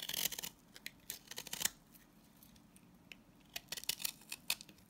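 A utility knife blade scrapes and cuts thin shavings from the face of a green solid salt scrub soap bar held in hand. Bright, dry, crisp scraping and quick clicking cuts come in bursts at the start and near the end, with a quieter stretch between.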